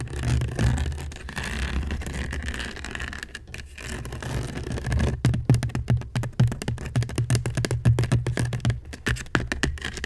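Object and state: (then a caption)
Woven seagrass basket. A hollow woven seagrass basket, turned upside down, is scratched and scraped with long nails. Soft continuous scraping gives way to a quicker run of short, dry scratches, with a low, hollow body under the brittle fiber rasp.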